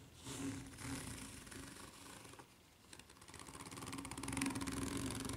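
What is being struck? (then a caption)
Ridged rubber flip-flop sole. Long nails scratch the serrated underside of a white ridged rubber flip-flop sole, making a quiet, rapid, ratcheting rasp with bright, crackly texture over a faint low hum. The scratching fades briefly midway, then returns denser and slightly louder.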